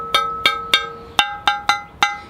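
A high-quality ceramic bonsai pot is tapped seven times, each strike giving a bright, bell-like ring with clear tones around 500 Hz, 820 Hz and 1.3 kHz. The ring is the mark of a quality pot, which a cheap pot would not produce.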